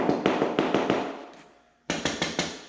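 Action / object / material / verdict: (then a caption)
tap / ceramic floor tile / ceramic / hollow. A ceramic floor tile is tapped during grout cleaning: six quick, evenly spaced taps, a short pause, then four more. Each tap gives a hollow, mid-pitched knock with a brief ring that fades fast, marking the tile as hollow and not bonded to the substrate beneath.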